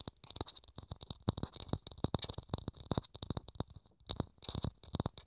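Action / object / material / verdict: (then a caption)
tap / thin plastic dome / plastic / none. Fingertips rapidly tap and scratch a small, hollow, thin clear plastic dome held in the hands. The result is a dense, irregular stream of short, dry clicks with a soft hollow low thump, over a faint bright scratchy hiss. Each tap dies away almost instantly.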